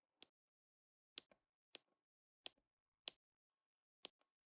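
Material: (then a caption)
Resin. A pink plastic drill pen with a metal tip presses small dark resin rhinestone drills onto a flat adhesive diamond painting canvas. Six sharp, bright taps land at uneven intervals, each a dry click with almost no ring and often a faint second tick right after it, separated by near silence.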